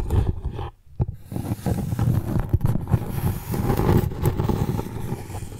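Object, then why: Piece of tree bark. Long nails scratch and rub the rough, cracked, darker outer side of a flat piece of tree bark held over a microphone. The sound is a close, low-heavy scraping and rustling with brief dips and sharp catches as the nails drag across the ridges.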